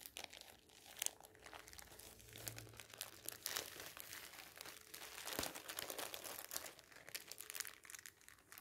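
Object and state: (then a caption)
Thin plastic bag being crinkled. A thin, clear polyethylene bag wrapped around a folded soft item on a table is handled and crinkled by fingertips and hands. Dense, bright crackling and rustling fill the clip in many quick bursts, with little low-end body and no ring after each crinkle.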